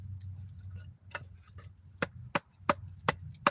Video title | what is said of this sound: Juggalo4life247 is live! | That sound there is the sound of dry firewood.